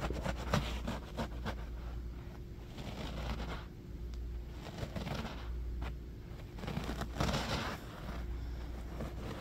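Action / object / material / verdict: scrape / low-pile carpet / textile / none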